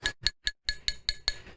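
Seven sharp taps on the motor casing inside a Thrustmaster T818 direct drive wheelbase, which is made of stiff glass- or carbon-fiber-reinforced nylon plastic, the same material as the quick-release collar. Each tap gives a hard, bright click that rings briefly and sounds like metal even though the casing is plastic.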